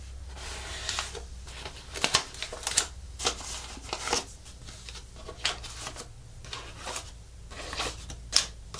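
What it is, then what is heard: Artificial plastic monstera leaf. An artificial plastic monstera leaf, first held and then laid flat on a table, is scratched with long nails and rubbed with fingertips across its thin plastic surface. The result is dry, bright scratching and rustling with sharp, short ticks, quick strokes standing out against a low steady hum.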